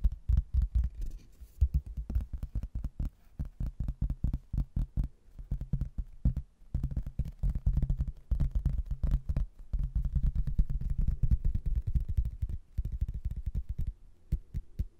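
A thin, solid, rectangular laminated hardboard placemat with a cork backing, about 30 cm wide and printed with a photo of an Irish castle, is held upright in both hands while fingertips and nails tap and scratch its glossy face. The result is a dense stream of quick, dull, low thuds with almost no ring, mixed with soft scratching and broken by a few short pauses.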